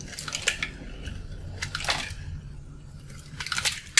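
A metal blade cuts and scrapes a solid, dried, colorful soap bar with a yellow inside, held in the hand, breaking off crunchy chunks onto a pile of shavings. Bright, dry crunches and scraping crackles come in short bursts over a faint low hum, each snap dying away almost instantly.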